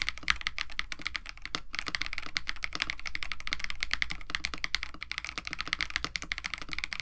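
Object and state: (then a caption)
Mechanical keyboard with PBT plastic keycaps. Both hands type continuously with their fingertips on a compact 65% KBD67 Lite mechanical keyboard with lubed Techno Violets switches, an FR4 plate, a white case and blue and white PBT plastic keycaps. The result is a rapid, steady stream of short, dry, bright clacks over a soft low thud, with each keystroke dying out almost at once.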